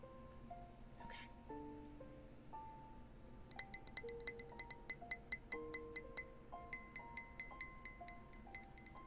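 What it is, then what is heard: Tapped glass. A glass is tapped with many quick, light taps that ring out in short, bright, chime-like clinks around 2 kHz. The taps begin a few seconds in over soft, steady melodic tones, come in a fairly even run, then continue more softly to the end.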